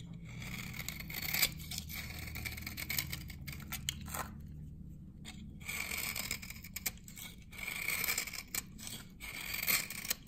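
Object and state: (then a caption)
Dry glycerin soap bar. A metal blade shaves the face of a hand-held, dry, solid amber glycerin soap bar from 1978, peeling off dense dry curls. Bright, crisp scraping and tearing strokes come in rapid bursts with a faint low hum beneath, and there is a brief quieter pause around the middle.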